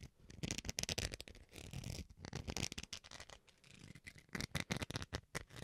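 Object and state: Plastic rice paddle scratched with fingernails.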